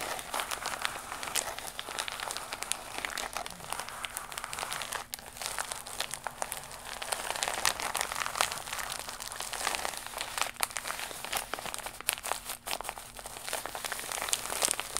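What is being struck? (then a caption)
Embossed vinyl faux leather pouch. A holographic faux leather pouch of iridescent embossed vinyl, held flat against the chest, is scratched and tapped with long pink nails of both hands. The result is a steady, bright stream of crinkly scratching and rapid, short, crisp clicks. A faint low steady tone runs underneath.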